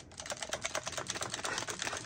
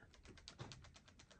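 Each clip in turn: First: counterfeit impact driver with loose internals rattling. Second: tight impact driver, no internal rattle.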